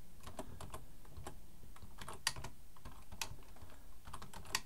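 Both hands type with their fingertips on a black plastic full-size Logitech keyboard resting on a wooden desk. The result is a quick, uneven run of short plastic key clicks with a soft low thud under each press and quick decay, with a few sharper, brighter clacks standing out.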